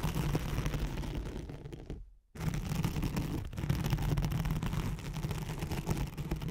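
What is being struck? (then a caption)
Nylon hook-and-loop sheet. Long nails scratch back and forth across a thin white nylon hook-and-loop velcro sheet laid over a microphone. The result is a dense, rough, bassy scratching texture, which fades and breaks off into a brief silence around two seconds, then resumes steadily to the end.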